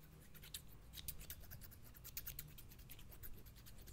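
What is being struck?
Steel scissors with plastic handles.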